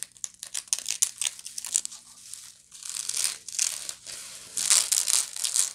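Long nails scratch the woven side of a medium, hollow woven straw bag near its rim. Quick, dry, bright scratches and crinkly rasps come first, then give way to longer, sustained scraping strokes across the weave, with almost no low end.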